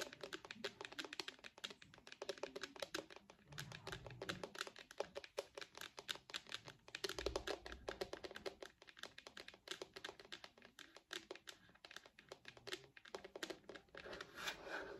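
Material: Plastic.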